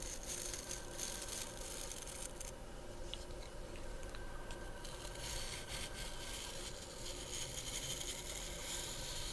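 Long nails scratch across the natural bristles and the wooden back of a handheld wooden-handled body brush. The result is a steady, dense scratching and crackling texture with bright, high hiss, a brief quieter dip in the middle, and no separate strikes.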